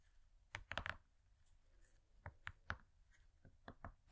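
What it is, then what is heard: Gold foil cardboard cake board tapped with nails. Long nails tap rapidly on a thin, flat, gold-laminated gold foil cardboard cake board. About nine short, dry, clicky taps land in quick clusters, each fading almost at once over a quiet background.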